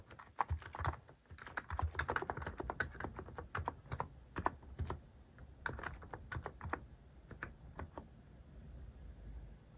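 Fingertips type on a plastic mechanical keyboard (Hanmumu) fitted with cat-shaped plastic keycaps. Quick, dry key taps come thick and fast for the first few seconds, then thin out into sparser strokes. Each tap is a short, sharp click with a soft low thud beneath it.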